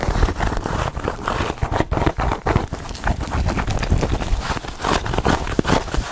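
A small black quilted faux-leather handbag with a chain strap is tapped and scratched with long acrylic nails across its padded surface. Quick, dull taps blend with soft scratching in a steady, busy patter that is mostly low and muffled.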